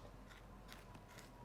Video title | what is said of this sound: Juiciest Spatchcocked Turkey | Can you hear it? It's super crispy